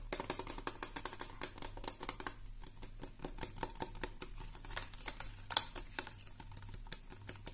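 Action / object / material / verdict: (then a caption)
tap / plastic pump bottle / plastic / none. Long nails tap and scratch quickly across the label of a medium red plastic hair-product pump bottle that appears filled. The result is a fast, uneven series of short, bright clicks with raspy scratching between them, over a faint steady low hum.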